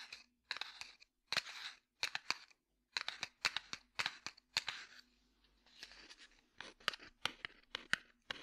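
Fingertips and nails tap and scratch a small, closed cardboard matchbox with a red striker side, holding matches. The result is a quiet series of crisp, dry, bright taps and rough scratching bursts that stop dead with no ring, separated by short silences and a faint steady low hum.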